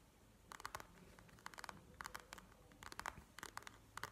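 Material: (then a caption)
Plastic. Long manicured nails tap and scratch a flat panda eye mask lying on a table, its clear plastic shell filled with gel beads. Quick, crisp plastic clicks and scratchy scrapes come in short clustered bursts, with a midrange tone near 1 kHz and a bright edge, over a quiet, close-sounding background.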